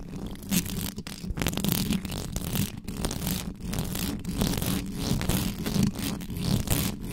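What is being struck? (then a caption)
Metal mesh microphone grille. Long nails of both hands scratch fast along the sides of a hollow metal mesh microphone grille. The result is a dense, continuous scraping and rasping with a heavy low rumble and bright hiss, pulsing in quick uneven strokes throughout.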